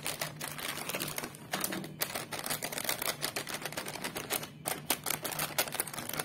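Fingertips and nails tap and crinkle on a small, full, sealed Crax Frits foil-plastic chip packet resting on a table, first on its white back and then on its front. A rapid, dense stream of sharp, bright clicks and crackles runs throughout, each one dying away almost instantly.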